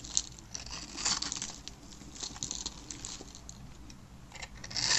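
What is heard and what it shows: A blade with a yellow handle scrapes across the surface of a solid, palm-sized, green and white striped dry soap bar held in the hand, scattering crunchy cubes. Bright, dry crunching and crackling scrapes run throughout, swelling louder near the end.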